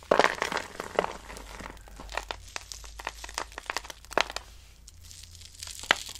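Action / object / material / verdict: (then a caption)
scrape / soap shavings / soap / none. Dry, pale green soap shavings are crushed in hands with long nails and crumbled onto a pile. The result is a dense run of dry, crinkly crunches and sharp little crackles, brightest at the start and with a few louder snaps near the end.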